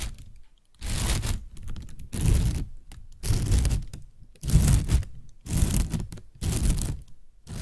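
A partly inflated, hollow white plastic bag is tapped and scratched with fingernails. Bursts of crinkly, rustling scratching with a soft low thump come in repeated clusters, separated by brief quiet gaps.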